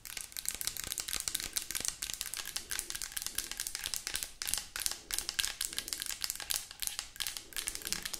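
Long acrylic nails rapidly tap and scratch the sides of a hollow white plastic lotion bottle with liquid inside. The result is a fast, dense stream of bright, crisp clicks and crinkly scratching with almost no low end, each tap dying away almost instantly.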